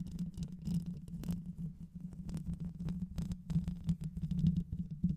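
Long white nails of both hands scratch and tap over the top of the hollow metal mesh grille on a black microphone, and later move lower on the mic. The result is a dense, steady low rumbling scratch with a strong hum-like tone, broken by many quick, sharp taps that flash briefly bright.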